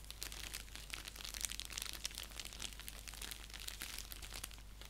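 Fingernails scratch and tap across the surface of an orange padded paper mailer envelope lying flat on a lap. The result is a quiet, continuous run of bright, crisp crinkling and scratching with quick, dry taps over a steady low hum.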